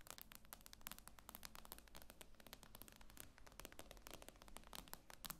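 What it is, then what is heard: Glass-screen tablet tapped with nails. Long acrylic nails tap quickly on the glossy glass screen of a tablet lying flat on a table. The result is a dense, rapid stream of short, bright clicks with almost no ring, over a steady low hum.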